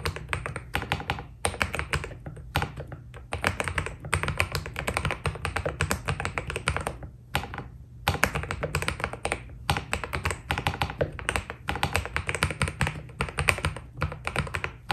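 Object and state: Mechanical keyboard with PBT keycaps.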